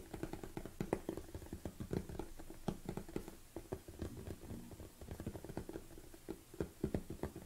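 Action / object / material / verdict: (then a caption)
tap / large plastic tub lid / plastic / none. Both hands tap the lid of a large black plastic supplement tub on a table, using long nails and fingertips. The result is a quick, uneven patter of soft, dull taps with a hollow low-mid body around 375 Hz. Each tap dies away almost instantly, with little brightness.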